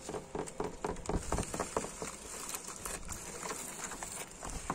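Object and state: Weathered wooden boards, solid.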